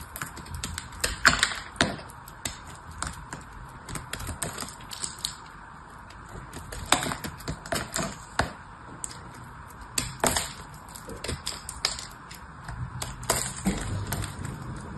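A small blade repeatedly cuts and scrapes a solid, dried bar of soap painted blue and held upright, and crumbly pieces fall away. Quick, sharp, crisp clicks and scratchy taps come in irregular bursts with quieter crumbling between them. The cuts are bright and dry with almost no ring.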